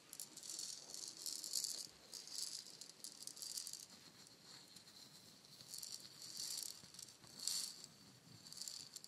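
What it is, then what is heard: Painted wooden shaker egg. A palm-sized, hollow, painted wooden shaker egg is tapped with long nails and shaken. It makes soft, bright rattling bursts that rise and fade in waves, with almost no low end beneath the crisp, high hiss of the rattle.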